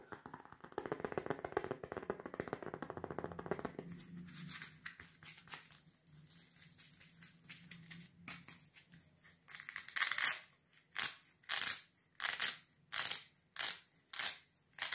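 Fingernails tap and scratch the sole and strap of a dark rubber sandal with a treaded sole, held in one hand. A dense, fast scratching rustle for the first few seconds gives way to quieter, scattered ticks, then to a steady run of louder, bright, hissy scrapes in regular bursts toward the end.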